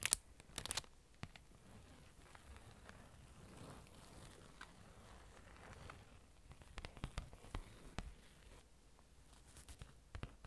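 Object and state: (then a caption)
Card in a plastic sleeve. Long orange nails tap and scratch across a flat parchment-style card certificate inside a thin plastic sleeve. Quiet, crinkly scratching runs throughout, broken by sharp, dry ticks from the taps, with brief louder bursts at the start and around the seventh and tenth seconds.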